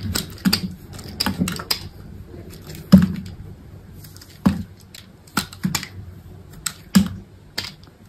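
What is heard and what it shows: A solid white bar of soap with a pink pattern, held by fingers with long pink nails, has chunks sliced and scraped off with a utility knife. Crisp, bright cutting clicks and crunches come at irregular intervals over a soft scraping hiss, each with a short, dull low thud and almost no ring.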